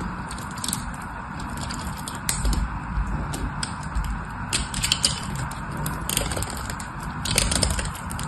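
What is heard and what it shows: A solid orange bar of soap held in one hand is shaved and scraped along its edge with a metal knife. The result is a steady, crumbly scraping texture with a low rumbling body, punctuated by bright, crackling bursts as the blade catches and flakes the soap.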